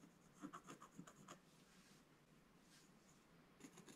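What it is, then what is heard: Scratch-art paper page being scratched. A wooden scratch stylus makes fast, dense scratching strokes across a solid black-coated scratch-art page in a book lying flat on a table, removing the coating. Quick raspy strokes come in a cluster at the start, then soften into a quieter, steady scratch before another short burst near the end. The sound is dry and papery, with a bright high hiss over a low-mid body.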